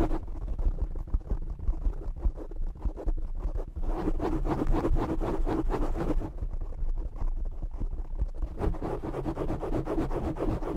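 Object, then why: Foam microphone windscreen. Short nails scratch the top and sides of a black foam windscreen on a desktop microphone. The result is a dense, rapid, muffled rustling and rumbling scrape, heavy in the low end, that swells louder in the middle and continues steadily to the end.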